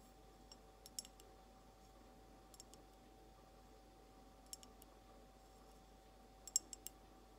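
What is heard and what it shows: Long almond nails slowly tap an empty, hollow, clear glass mason jar held sideways, producing short, bright, crisp clicks that die away almost instantly. The taps come in small, spaced clusters over a quiet, steady background hum.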